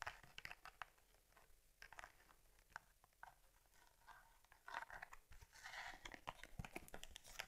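Fingertips and long nails rub and squeeze a closed cowhide leather Argus C3 camera case with rivets and a strap as it is turned in the hands. Quiet, dry creaks and crinkling scratches come in a steady scatter of short, bright snaps. The leather sounds swell louder and denser for the last few seconds.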